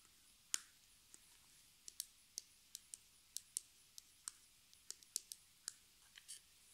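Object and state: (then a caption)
Plastic cosmetic cream tube. A hollow, partly filled pink plastic cosmetic cream tube with a white plastic cap is turned in the hands and tapped with long nails, with the cap possibly being clicked. Seventeen quiet, sharp, bright clicks and taps come at an uneven, slow pace, each dying away almost instantly over a faint hiss.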